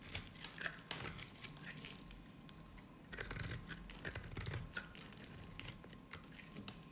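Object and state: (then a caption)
Dry bar soap. A hand-sized, dry, peach-colored bar of soap is held in one hand while a metal utility-knife blade shaves and cuts small cubes off its end. Crumbled pieces fall away. Short, dry, crisp scraping and crunching cuts come in quick, uneven bursts, bright and high with a steady faint tone underneath.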